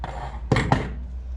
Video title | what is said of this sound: Décalaminage Honda MTX 50cc / Grosses bricolages #12 | quand je le pose, hein, ça fait pas trop un bruit de creux